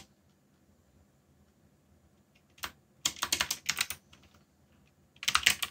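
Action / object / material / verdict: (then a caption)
tap / mechanical keyboard with plastic keycaps / plastic / none. Fingertips type on and rest on the keys of a backlit mechanical keyboard with plastic keycaps. A lone tap comes first, then quick bursts of bright, crisp clicks with short pauses between them. A final flurry of clacks ends the clip, with almost no low end and a quiet background.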